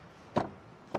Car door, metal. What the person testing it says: la qualité des portes, c'est aussi ça sonne vraiment bien